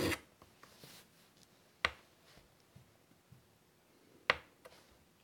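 White chalk scratches butterfly outlines onto a large, flat, wood-framed chalkboard. Soft gritty rubbing and light tapping are heard, broken by two sharp, bright chalk strikes that die away quickly.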